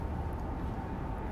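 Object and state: Nothing is struck.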